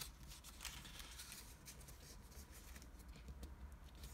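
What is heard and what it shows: Fingertips crease and rub the folds of a single green floral washi origami sheet, a patterned Japanese paper, as it is folded on a table. Soft, dry rustles and crinkles with bright, papery edges come and go over a steady low hum, staying quiet throughout.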